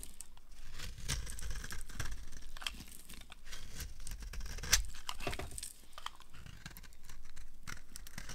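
A solid, opaque, yellow oval bar of dry soap is held in the hand and carved with a knife blade, with chunks breaking off. Steady crisp scraping and crunchy crumbling bursts carry bright, dry edges, with a sharper snap about midway through as a chunk breaks away.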